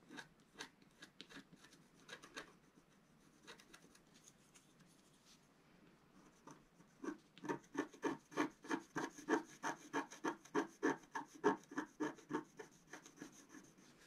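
A wooden stylus scratches and rubs the coating off a small area of a flat black-coated scratch-art card held flat by one hand. Sparse, quiet scratches come first, then about halfway through the strokes turn louder and settle into a steady back-and-forth rhythm. Each stroke is a short, dry rasp with a bright edge and no ring.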